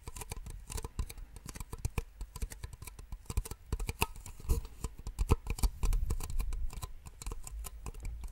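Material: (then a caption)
Plastic. Two identical small, empty white plastic drinking cups, held upside down in both hands, are rapidly tapped with long nails. The result is a quick, uneven patter of short, dry taps: mostly dull, hollow low knocks with faint bright clicky edges. Each tap dies away almost instantly, and the tapping grows somewhat louder and busier toward the middle.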